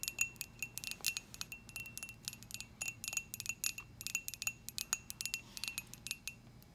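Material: Ceramic.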